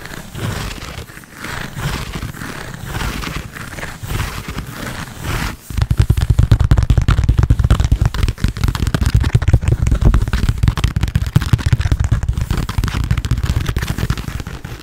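Fingertips and nails tap and scratch a small, hollow black quilted leather handbag held close to the mic. For the first five and a half seconds, soft, uneven scratching rasps across the leather. Then dense, rapid tapping takes over, producing louder, low, hollow thumps with a faint crackly texture until the end.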